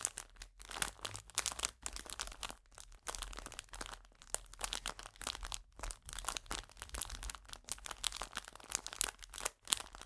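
A full clear plastic biscuit pack, held upright, is squeezed and crinkled with fingers and nails. Dense, bright crackling and crinkling runs almost without pause for about ten seconds, with quick sharp snaps and only brief gaps between squeezes. The sound is quiet overall, with a faint low rumble underneath.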